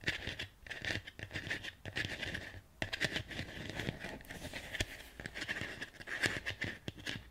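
Fingernails scratch and tap along the vertical ribs on the outer surface of a medium, hollow, empty white ribbed ceramic plant pot. The result is a quick run of dry, scratchy clicks and light taps, each carrying a short, bright ring near 1.75 kHz, with a few brief pauses between bursts.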